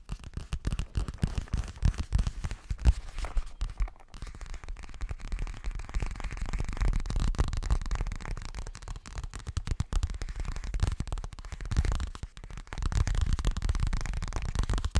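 Fingertips and nails tap quickly on a boxy, hollow yellow fabric toiletry bag, possibly coated. The result is a dense run of dull, muffled thumps, almost all low and boomy with very little brightness. The tapping briefly softens and then builds again.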